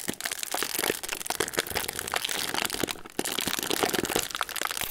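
Fingertips of both hands pinch and crinkle the folded end of a hollow metallised plastic/foil sleeve of Ritz crackers, with crackers inside, sticking out of its cardboard box. The result is dense, bright, sharp crinkling and crackling with very little low end, continuing steadily for five seconds with a brief quieter lull around the three-second mark.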